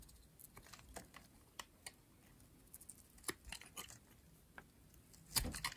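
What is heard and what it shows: A metal blade scrapes thin layers off the face and edge of a light blue, rectangular, solid dry soap bar. Quiet, irregular, crisp scraping crunches with a bright, dry edge sound in short bursts. A louder, denser scrape comes near the end.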